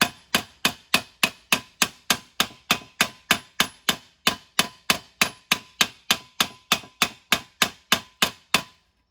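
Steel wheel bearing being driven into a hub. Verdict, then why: Not seated. A new steel front wheel bearing on a Mercedes W163 is tapped into the hub, driven in through the old bearing, making 29 sharp, bright metallic taps at a steady pace of about three per second, each dying away almost at once. The bearing is not yet fully seated, only almost there, so the taps have not yet changed to the stiffer sound of a seated bearing.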